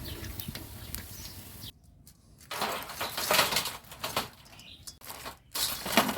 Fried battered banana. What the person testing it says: ฟังเสียงกรอบนะครับชัดเจนมากกรอบมากๆ